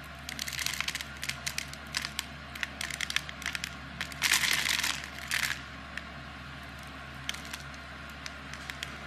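A knife blade scrapes small cubes off a palm-sized solid blue soap bar with an embossed logo, scored in a grid. Quick, bright, crisp crackling scrapes come in clusters, with a denser, louder crumbling burst in the middle. A faint steady low hum runs underneath throughout.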